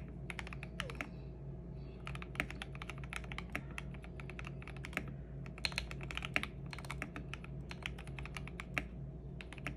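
Both hands type continuously with their fingertips on a 65% custom mechanical keyboard with lubed and filmed switches, plastic MA-profile keycaps and a purple backlight. A rapid, steady stream of short, crisp keystrokes has bright tops over a deeper, muted thock, with a constant low hum underneath.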